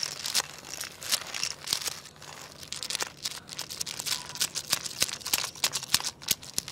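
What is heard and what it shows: Fingers wiggle and tap a long, carved wooden segmented crocodile toy lying on tiles, making its jointed segments click. The result is a rapid, irregular stream of bright, dry clicks and clacks with a crinkly texture, very little low end, and almost no ring after each hit.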